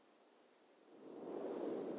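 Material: Nothing is struck.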